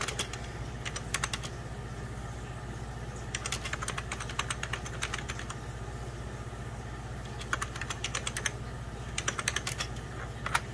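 Fingertips and short nails press rapidly on the beige plastic keys of a full-size 90s Packard Bell keyboard with a hollow plastic case. The result is bursts of sharp, bright clicks with quick pauses between them. A steady low hum runs underneath.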